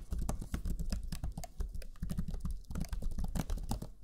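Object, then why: Plastic laptop chiclet keyboard. Fingertips of both hands type rapidly on the black chiclet keyboard of a Lenovo Legion 5 laptop, pressing its low-profile plastic keys. The result is a dense, steady stream of soft, muffled key taps with a deep, thumpy body and faint bright clicks, each dying away almost instantly.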